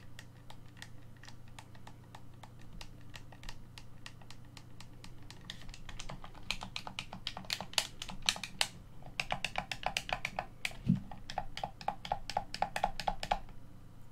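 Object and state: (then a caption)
Plastic game controller, buttons pressed. Fingertips press the buttons and triggers of a hollow black plastic Xbox One controller, which is tilted and then set on a table. Sharp, bright plastic clicks tap along steadily at first, then grow louder and denser after about six seconds. A low thump lands near the eleven-second mark amid the rapid clicking.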